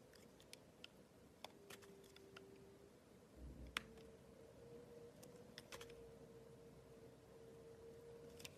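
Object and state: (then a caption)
Glycerin soap bar being cut. A box cutter blade cuts and scrapes a solid, clear, rectangular glycerin soap bar with colored round inclusions, held in hands with long blue nails. Sharp, bright clicks and crisp snaps pop out at irregular moments over a quiet background, with one louder crack near the middle. A faint steady low hum runs throughout, and a brief low rumble comes just before the crack.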